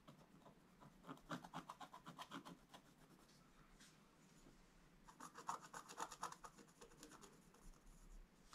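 A wooden stylus scratches fine lines into a flat, black-coated scratch-art page in a book. Quick, dry, rasping strokes come about four per second in two bursts, with a quieter stretch of soft rubbing between them. Each stroke is a short, bright scratch that dies away almost at once.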